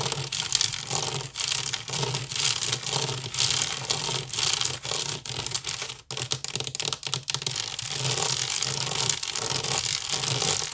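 Fingernails scratch fast across the weave of an empty, hollow woven wicker basket. The result is a dense, bright, crackling rasp made of rapid overlapping strokes, with a brief pause near the middle.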